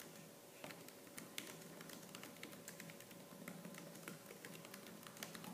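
Fast typing on a laptop's black plastic keys with fingertips and purple-painted nails produces a steady stream of sharp, bright clicks. The taps land over a low, constant hum, and each one decays quickly.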